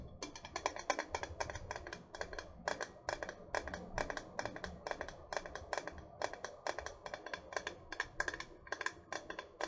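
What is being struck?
Metal water bottle.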